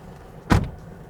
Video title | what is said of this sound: Top 5 reasons to buy the Tata Tiago (New or Used) | this reassuring and solid sound of the door shutting